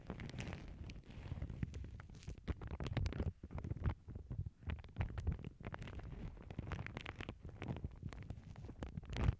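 A thin lavender tissue paper sheet, folded over earbud microphones on a cork board, is pinched and crinkled by fingertips and long nails. The result is a dense run of soft, close crackles and muffled rustles. The low thumps sound rumbly and boomy, with faint bright crinkle edges.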